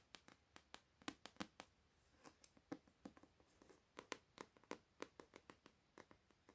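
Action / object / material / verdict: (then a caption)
tap / paper books / paper / none. Paper books are tapped with light, quick strikes, about 23 quiet, dry taps in an uneven rhythm. Each tap is a short bright click with almost no ring over a soft background hiss.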